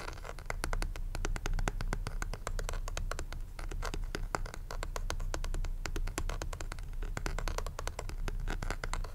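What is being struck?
Plastic calculator back.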